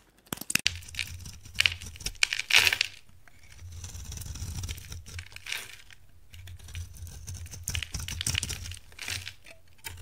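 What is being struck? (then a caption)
Bar of soap. A dried orange-tan rectangular bar soap is held in the hand while a utility knife blade scrapes crumbly flakes off it. The result is a series of dry, bright crunches and scratchy scrapes. Under them runs a steady low hum.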